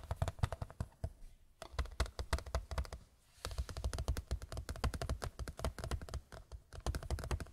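A large white picture frame is tapped with the fingertips in quick, uneven bursts, with brief pauses near 1.5 and 3 seconds. Each tap is a short, dry, low-heavy knock that dies away almost instantly, with a faint bright click on top.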